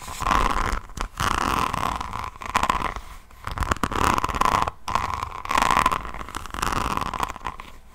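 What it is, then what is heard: Rhinestone-covered notebook scratched with nails. Long painted nails of both hands scratch across the faceted resin rhinestones of an A5-sized, rhinestone-covered hardcover diamond painting notebook held above the mic. The scratching comes in dense, crunchy, clicking bursts centered around 1 kHz, separated by brief pauses.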